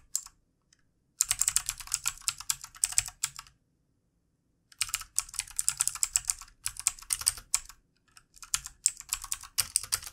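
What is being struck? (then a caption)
Plastic computer keyboard. Fingertip typing with both hands on a full-size backlit plastic mechanical keyboard with plastic keycaps. Bursts of rapid, bright, sharp key clicks come in three runs separated by pauses. Each click is very short and dry.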